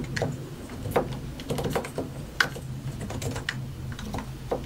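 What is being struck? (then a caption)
Mechanical keyboard with plastic keycaps. Fingertips of both hands type continuously on a compact white and grey mechanical computer keyboard with a hollow plastic case and plastic keycaps. Irregular, crisp clicks and clacks with short, dry decays sit over a steady low hum.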